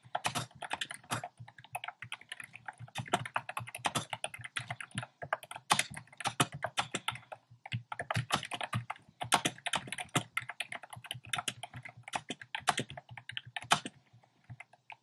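Fingertips type fast on a compact plastic mechanical keyboard with a black plastic case and round pastel plastic keycaps. A steady stream of short, crisp clacks runs throughout, with bright clicky edges over a light low thump. Brief pauses break up the rapid bursts of typing.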